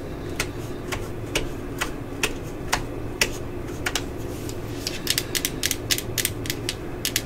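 Long acrylic nails tap on the hollow yellow and black plastic housing of a cordless drill, making sharp, dry clicks with a bright edge that fade almost at once. The taps start slow and evenly spaced, then come in quicker clusters toward the end, over a steady low background hum.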